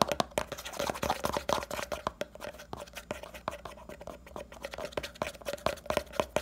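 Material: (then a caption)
Plastic. A small, round, red 70 g hair pomade jar, likely plastic, is held in the hand while fingernails scratch quickly across its printed lid. The result is a rapid run of dry, crackly scratches punctuated by sharp taps, over a faint steady midrange tone.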